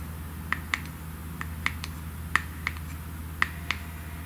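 Long nails tap the gold metallic lid of a small glass cream jar in an irregular series of sharp, clicky taps. Each tap is very short, with a bright ring around 1.8 kHz, over a steady low hum.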